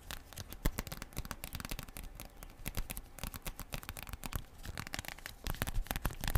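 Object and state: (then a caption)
Plastic foil sachet. A small, thin, flexible plastic/foil sachet with a printed back is held up and tapped, scratched and crinkled with long purple acrylic nails, and rings on the fingers may add faint clicks. The sound is a steady stream of rapid, crisp taps, scratches and crinkles, with a few sharper clicks standing out near the start and end.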